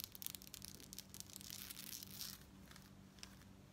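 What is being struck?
Metal bead fringe necklace.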